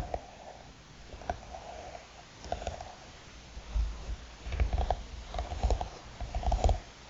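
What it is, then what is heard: Hard eyeglass case tapped and scratched with nails. Long nails tap and scratch the lid of a closed, hollow black hard eyeglass case with a croc-textured faux-leather cover resting on a mat. Soft, irregular taps with short dull thuds sit over a quiet scratching hiss, the taps clustering more densely toward the end. The sound is quiet and mostly low, with brief clicks that die away almost instantly.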